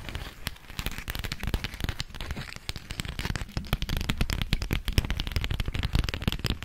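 A thin, flexible, yellow polka-dot beeswax-coated cotton food wrap is held close and tapped and scratched with long acrylic nails. The result is a dense run of sharp, crackly clicks and rustling crinkles, with a low thump under many taps and bright, brief transients that stop almost at once.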